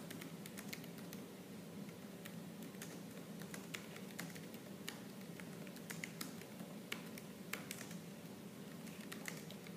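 Fingertips and nails type rapidly on a laptop keyboard with black plastic keys. A fast, continuous patter of quiet, bright clicks and taps plays over a steady low hum, with a few sharper, louder strikes standing out.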